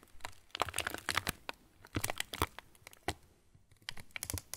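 An opened yellow plastic TUC cracker wrapper, partly full of crackers, is crumpled and crinkled with the fingers of both hands. Clusters of sharp, bright crackles and crinkles come in irregular bursts separated by brief quiet gaps. Each crack snaps off almost instantly with no ring.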